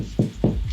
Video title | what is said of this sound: The Complete Guide to Sourdough Bread | Sounds nice and hollow, it's cooked through. Always a good test for bread.